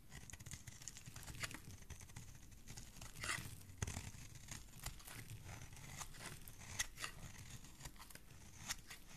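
A metal knife blade slices and scrapes flakes from the flat surface of a solid green bar of soap held in hand. The quiet, steady, crackling scrape has a low rumble underneath and is broken by several sharper, bright snaps as the flakes come away.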